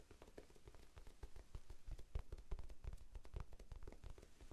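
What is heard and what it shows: A small, soft, solid rectangular pink foam sponge, held in both hands, is tapped rapidly with the fingertips. The result is a quick, uneven stream of soft, dull, low thuds that stop dead with no ring, some taps landing a little harder than others.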